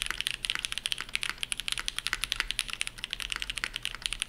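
A dark navy tenkeyless Shelby80 mechanical keyboard with TTC Matrix switches, GMK ABS keycaps and a POM plate is typed on at full speed with the fingertips of both hands. About 26 quick, bright, clacky keystrokes sound in a rapid, uneven stream, each dying away almost instantly with very little low end.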